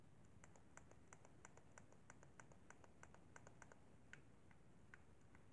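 Fingertips tap the face buttons and thumbsticks of a hollow white plastic Xbox 360 controller. A quiet run of short, sharp plastic clicks, unevenly spaced, rises above a faint low background hum. Each click is crisp and bright and dies away almost at once.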